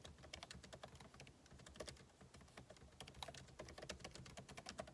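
Two hands type continuously with their fingertips on the backlit keyboard of a MacBook Pro laptop, whose plastic keycaps sit in a hollow aluminum case. The result is a quiet, rapid stream of short, bright clicking taps with a soft low thump beneath them, and each tap dies away almost instantly.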